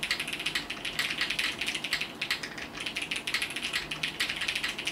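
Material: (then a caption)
Plastic. Both hands type with their fingertips on a compact mechanical keyboard with multicolored plastic keycaps, producing a rapid, steady stream of bright, sharp clacks. The clicks are crisp with almost no low end and die away quickly.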